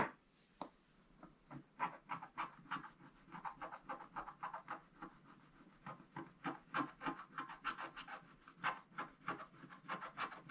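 A wooden stylus scratches fine lines into a flat, thin scratch-art page with a black coating over gold foil. After a quiet start, it makes a fast, uneven run of short, dry, rasping strokes centered around 1 kHz. The strokes come at roughly three per second, each cutting off quickly.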